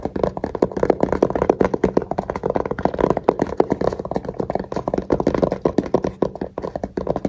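A small black hard-shell case with a fabric cover and red zipper, hollow inside, is tapped and scratched with fingertips and short nails. Quick, dull, hollow taps fall in a fast, uneven stream, mixed with soft scratching. Each tap dies almost at once, and the sound sits mostly in the low-mid range with little brightness.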